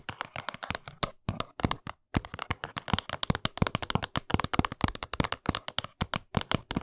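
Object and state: Small cardboard box (named only).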